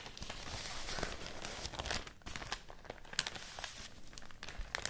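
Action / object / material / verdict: shake / thin fibrous rice paper sheet / rice paper / none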